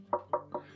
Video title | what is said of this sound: How To Make Rocks From Styrofoam (5/5) | even sounds pretty convincing ... you can hear that it's Hollow it's not solid like a real Rock would be